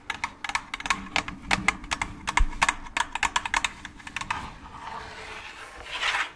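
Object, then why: Hollow plastic pumpkin bucket. Long claw nails tap the bottom and sides of an empty, orange, hollow plastic jack-o'-lantern candy bucket. A fast run of short, dry, clicky taps with a bright edge and almost no ring settles into a softer, brushing rustle near the end.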